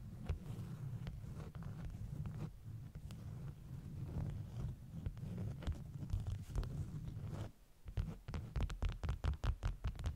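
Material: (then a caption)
Waxed cloth. Long nails scratch and tap the top of a stack of bee-print beeswax food wraps, and the fingers rub across it. The result is a close, muffled, low rumbling rub dotted with soft clicks. After a brief quieter pause near the end, a quick run of sharper taps follows.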